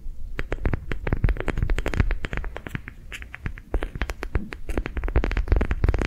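A palm-sized, yellow-green, ribbed soft rubber sensory ball is held in the hand and tapped and scratched with long nails. The result is a fast, irregular stream of sharp clicky taps mixed with scratchy strokes over a low, dull thud.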